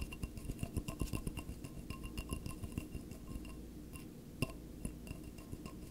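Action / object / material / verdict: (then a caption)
tap / empty glass tumbler / glass / none. A single clear, empty stemless wine glass is held in both hands while fingertips and nails tap and scratch its wall. The result is a rapid run of light, short clicks and scrapes with faint glassy rings. A few sharper taps stand out, and one near the end is clearly louder.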